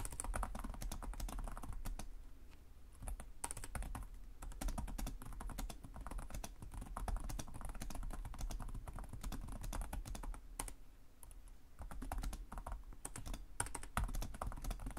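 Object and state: Plastic laptop keyboard.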